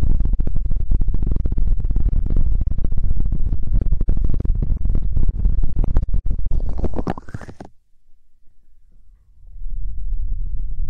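Fingertips and nails rapidly tap and scratch a square, cartoon-print stuffed fabric throw pillow held close to the mic. It makes a dense stream of soft, muffled, low thumps. Around seven seconds a brighter scratching swell rises, then the sound drops almost to silence before quieter low rubbing resumes.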